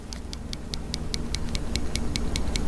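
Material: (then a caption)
Steel. A closed CRKT BT Fighter folding pocket knife, with a steel blade in a glass-filled nylon handle, is shaken close up and gives 13 quick, evenly spaced, bright metallic ticks over a low background rumble. The blade rattles because of loose play at its tip, a fault serious enough that the knife may be sent back.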